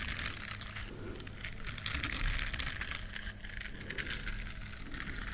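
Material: Silicone.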